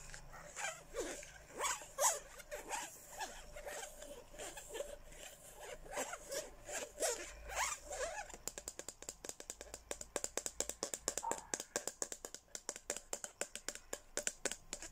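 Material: Plastic.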